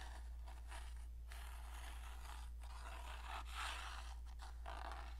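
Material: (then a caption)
Cardboard. Long dark painted nails scratch along the surface and striker edges of a small rectangular cardboard matchbox held in the hand. The result is a quiet, continuous run of dry, rasping scrapes whose bright bursts swell and fade at an irregular pace, all over a steady low hum.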